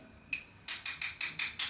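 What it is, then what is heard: Cracked glass sheet, fracture running along the score line. The back of a scored sheet of stained glass is tapped lightly with the ball end of a glass cutter, giving eight short, bright, high-pitched ticks that each fade quickly. The taps run a small fracture along the score line, and the tone of the taps reveals the crack spreading through. The inside-curve piece then comes free.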